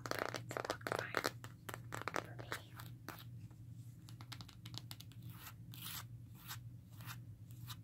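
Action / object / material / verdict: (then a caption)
scrape / plastic and rubber phone case / plastic / none. Long fingernails tap and scratch along the textured back and edges of a smartphone in a black rugged plastic and rubber case held in the hands. The result is a rapid run of short, dry clicks mixed with crackly, tearing-like scratches, louder at the start and settling into lighter taps. A steady low hum sits underneath.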